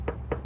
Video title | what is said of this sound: Accurate 80w Spooled With130lb Hollow Core Braid No Mono | when I tap on it, it sounds hollow like that. So it's good enough there.